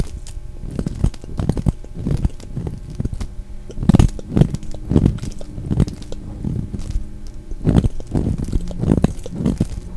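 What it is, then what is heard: Glycerin soap bar being scraped with a blade. A solid red translucent glycerin soap bar, held in the hand, is scraped and shaved with a utility knife blade. The result is a rapid run of short, dull, crunchy scrapes, heavy in the low end with little brightness, and each stroke cuts off almost instantly. A faint steady low hum sits underneath.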